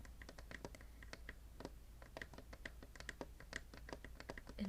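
Fingertips tap and scratch rapidly on the lid of a closed, intricately hand-carved wooden spice box. The taps are quick, light and dry, with clicks that die away almost instantly, and a brief louder scrape comes at the very end.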